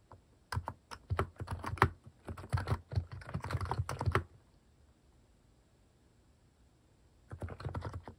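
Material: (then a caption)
Plastic. Fingertips type continuously on a Hanmumu mechanical keyboard fitted with plastic cat-themed keycaps. Quick runs of deep, low-heavy clacks with bright click tops play for about four seconds, then stop for a quiet pause before another short burst of typing resumes near the end.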